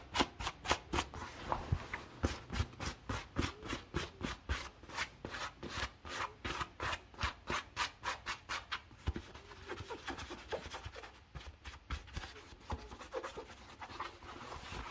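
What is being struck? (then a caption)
Cotton denim jeans. Blue cotton denim jeans are held bunched in one hand while the fingertips and nails of the other hand rub and scratch the woven fabric. Quick, fairly steady bright swishing strokes come for the first nine seconds or so, then give way to softer, less regular scratching and rustling.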